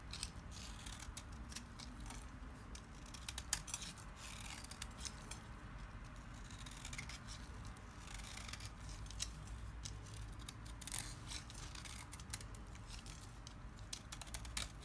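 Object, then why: Bar of soap shaved with a small knife. A small knife shaves the surface of a solid lime-green oval bar of dry Timotei soap held in the hand, with the flakes piling up. Quiet, dense, crisp scraping and cutting strokes crackle with bright, dry detail over a soft low background rumble throughout.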